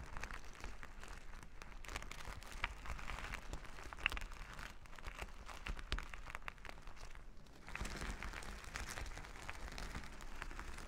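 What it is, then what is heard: Plastic sequin fabric. Flat plastic sequin fabric is rubbed and scratched with plastic finger-massager tools worn on the fingers, giving a steady crinkly, scratchy rustle full of tiny clicks. The sound dips briefly near the seven-second mark, then returns brighter and fuller for the rest of the clip.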